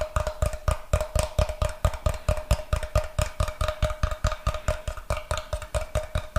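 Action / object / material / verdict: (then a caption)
tap / wooden block / wood / none. A solid, roughly brick-sized rectangular block of light unfinished wood is held in one hand while fingernails tap and scratch its face. The result is a quick, uneven run of short, dry knocks with a low thud, a faint steady tone near 600 Hz, and light scratchy texture between the taps.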